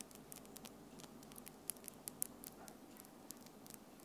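Long acrylic French-tip nails on both hands tap and click against each other close to the recorder. A quiet, steady stream of sharp, bright clicks sounds over a soft hiss, some faster and some spaced out, with each click stopping instantly.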